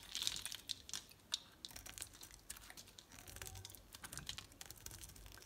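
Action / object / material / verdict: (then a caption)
scrape / bar of soap cut with a utility knife blade / soap / none. Flakes are sliced off a solid red rectangular bar of soap with a snap-off utility knife blade. It makes a quiet, dense run of crisp, bright crackling scrapes and short clicks, with a sharper snap near the start.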